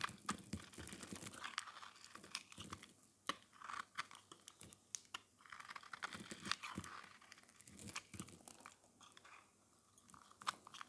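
An oval, solid, white dry soap bar, painted silver-red, is held in the hand while a metal blade scrapes it, shaving off crumbly white flakes. Dense, dry crunching and crisp crackling run throughout, with bright, sharp clicks that stop instantly, and brief quieter gaps between strokes.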